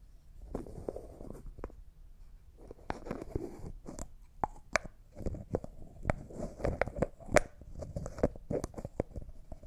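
Fingertips and manicured nails twist the white plastic screw lid of a small, thick-walled, clear, hollow jar that looks like glass and appears empty, held in both hands, while tapping and scratching the lid and jar. Soft scratching and rubbing run under a quick, irregular series of short, sharp taps and clicks with a faint mid-pitched ring that dies away almost instantly, all at a quiet, close level.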